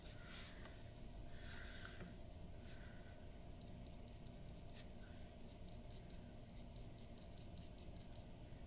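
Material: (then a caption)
Paper. A glass dip pen nib scratches hatching strokes near the mouth on a white paper drawing sheet resting on a wooden desk. Quick, bright scratchy strokes come in short bursts, denser and more rhythmic in the second half, over a steady low hum.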